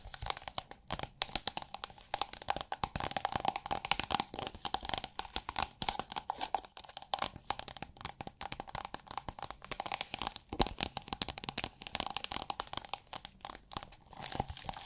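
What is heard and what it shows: A thin, iridescent holographic plastic sheet, rolled into a hollow upright tube, is scratched and squeezed with long nails so it crinkles. The result is a dense, continuous stream of sharp, bright crackles and crunches with little low end, rising and falling in bursts across the clip.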